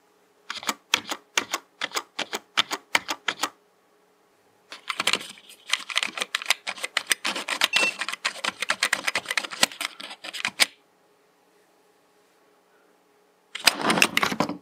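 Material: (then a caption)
Plastic. A fingertip taps and presses individual keys around the Esc, F1/F2 and Caps Lock area of a black full-size plastic mechanical computer keyboard with hollow keycaps, lying on a desk. It starts as a slow run of separate, bright, hollow clicks, then becomes a dense stretch of rapid clacking. After a pause, it ends with a short, busy burst.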